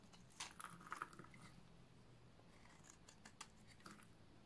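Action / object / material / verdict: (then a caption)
scrape / bar of soap shaved with a blade / soap / none. A solid yellow oval bar of dry soap is shaved with a utility knife blade, making fine flakes. Quiet, dry, crunchy scrapes and short crisp clicks come in bursts, with bright edges and a faint low hum underneath.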